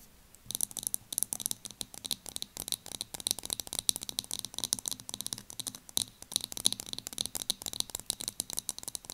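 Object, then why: Small plastic loose powder jar. Long nails tap and scratch the clear plastic base of a small loose powder jar turned upside down, with its powder visible on top. A quick run of dry, bright clicks and scratches follows one another with almost no ring, sitting mostly in the high range with little low end.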